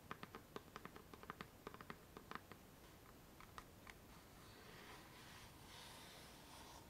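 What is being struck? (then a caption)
Small fabric-covered wooden box. Long nails tap a small, hollow, chest-shaped wooden box covered in patterned canvas or faux leather, with a metal clasp and studs, while it is held up. About twenty quick, dry, irregular taps with a clicky, hollow knock come over the first four seconds. The nails then switch to a softer, steadier, bright scratching across the covering until the end.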